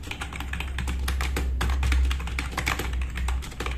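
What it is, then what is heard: Plastic mechanical keyboard. A compact RGB-backlit plastic mechanical keyboard with black plastic keycaps sits on a wooden desk as both hands type fast with their fingertips. Dense, uneven clacks of keys overlap with a steady low hum underneath.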